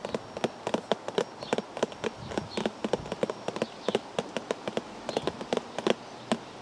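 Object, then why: Cardboard tea bag box. Fingers tap on a cardboard tea bag box for about thirty quick, separate taps at an uneven rhythm. Each tap is short and dry, with a light hollow tone near 650 Hz that dies away almost at once over a faint steady hiss.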